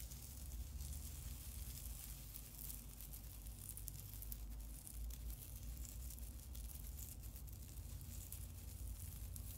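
A long silver plastic tinsel garland hangs from the hands over a wooden table and is rustled and crinkled by the fingertips. It makes a steady, soft crinkling rustle with bright, sizzly crackles over a constant low hum. The level stays even throughout, with no clear pauses.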